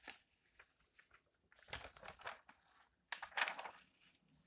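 An open thin magazine with glossy coated paper pages is held in the hands while fingertips turn and brush the pages. Soft, bright rustles and crinkles come in short bursts, with louder sweeping swishes as the pages turn over, then a quiet brushing fades at the end.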